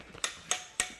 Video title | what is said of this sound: SR'S TECH TALK; SO YOU NEVER GET RIPPED OFF AGAIN BY DISHONEST PRIVATE SELLERS & LICENSED STEALERS | that spokes out of adjustment